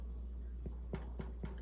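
A loaf of freshly baked homemade white bread, just out of the oven, is tapped several times, giving short, dull, low thumps over a steady low hum. The hollow sound shows the bread is baked through and done.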